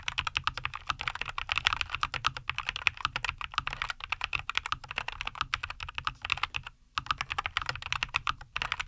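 Both hands type continuously with their fingertips on a compact 75% NuPhy Air75 V2 mechanical keyboard with linear Cowberry switches, a white case and green-and-white plastic keycaps, resting on a wooden desk. A steady stream of short, bright, clacky keystrokes centers around 2.5 kHz with almost no ring. There is one brief pause just before the seventh second.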